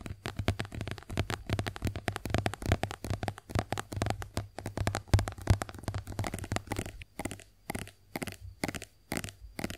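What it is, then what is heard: Plastic face wash tube. A white, soft plastic squeeze tube of face wash cream, hollow and partly filled, is tapped and scratched with long acrylic nails and then tilted in the hands. Dense, irregular clicking taps and scratches run throughout with a low hollow thump beneath them, thinning into sparser, separated taps toward the end.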